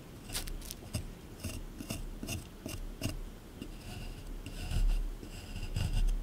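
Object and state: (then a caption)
Plaster dig block being scraped. A small metal scraper scrapes and digs into a solid plaster excavation block, making short, gritty rasping strokes at an irregular pace. Each bright, scratchy burst sits over a low, dull thud as the tool bites into the hard surface, and the scraping grows louder toward the end.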